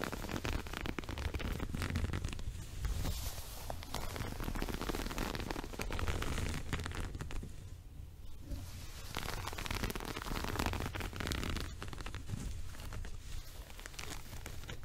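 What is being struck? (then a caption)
Woven fabric rug. Fingers grip, scratch and rub the top edge and surface of a multicolored woven fabric rug held in front of the body. The result is a steady stream of dry, crackly scratching and rustling over a dull low rumble, with no pauses.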